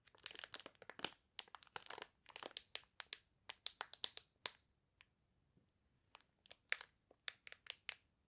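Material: Plastic film.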